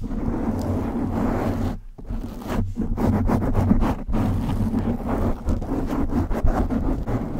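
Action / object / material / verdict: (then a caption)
scrape / foam microphone windscreen / foam / none. Long acrylic nails of both hands scratch and rub a black foam windscreen on a silver USB condenser microphone, the soft, hollow cover over the capsule. The result is a dense, rumbling, bass-heavy scratching with a steady low hum around 234 Hz, briefly dropping out near the 2- and 4-second marks before resuming.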